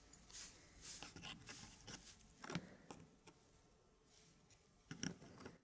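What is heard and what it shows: Fingertips slide and rub thin, flat wooden fractal pieces into place inside a square laser-cut wooden tray about 20 cm across. Soft, bright scraping and rubbing swells come and go, broken by a few light taps as pieces settle.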